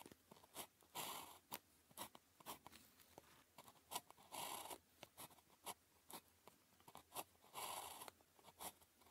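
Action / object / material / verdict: scrape / ballpoint pen on a thin paper sheet / paper / none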